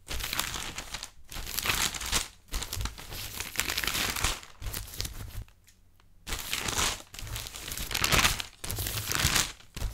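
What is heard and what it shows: Thin printed newsprint newspaper pages with photos and text are held in both hands while the fingertips fold, crinkle and rustle them. Dense, bright papery crinkling comes in bursts separated by short pauses, with a longer quiet lull midway before the handling resumes.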